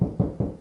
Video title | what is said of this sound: Installing 15 outlets in a 200 yr old Farmhouse | just knocking on the wall, I can hear it's hollow